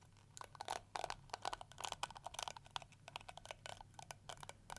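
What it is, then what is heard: Plastic detangling brush. Long nails scratch and strum the plastic teeth of a round pink and yellow plastic detangling brush with a hollow shell. Quick, dry plastic clicks and scrapes come in uneven bursts with bright crackle and a midrange rattle around 770 Hz. Each stroke dies away almost instantly over a faint steady low hum.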